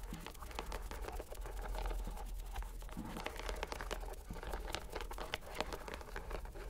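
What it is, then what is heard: Rubber mesh stress ball. A purple rubber stress ball inside a white net is squeezed by hand so its bubbles bulge through the mesh. It makes a dense, steady stream of soft crinkling, scratchy clicks over a low rumble, with a faint steady hum underneath.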